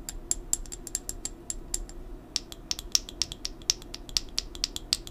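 An amber plastic supplement bottle, a brown pill bottle lying on its side, has its cap and body tapped with long nails. The result is a steady run of short, dry, bright clicks that die away almost instantly, with the tone of the taps shifting slightly partway through, over a faint low background hum.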